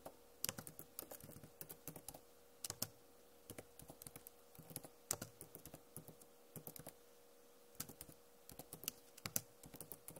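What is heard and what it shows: Fingernails tap on the plastic keycaps of a backlit Acer laptop keyboard, producing quick, bright, clicky taps in irregular bursts and runs. A faint steady hum sits beneath the taps throughout.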